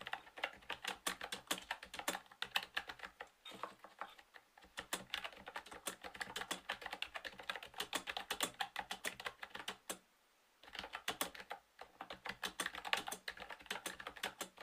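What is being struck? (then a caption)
Plastic round-key keyboard. Fingertips type steadily on a typewriter-style plastic retro keyboard with round plastic keycaps in a light green case. It produces a rapid stream of short, bright, clicky keystrokes that die away almost instantly, with a brief lull near four seconds and a short silent pause just after ten seconds before the typing resumes.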